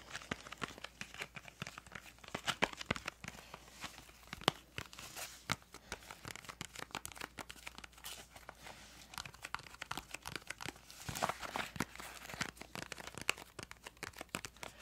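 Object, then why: Small cardboard crayon box. Long nails tap and scratch a small, hollow, printed yellow-green cardboard crayon box, making a dense run of quick, dry clicks and crinkly scraping with a bright, papery edge. Faint speech can be heard underneath.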